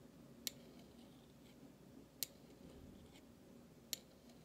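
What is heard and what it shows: A flat metal utensil handle scrapes the bowl of a large stainless steel spoon made of thin, solid metal. Three short, bright metallic scrapes stand out at irregular intervals over a soft, low background hiss, each one dying away almost instantly.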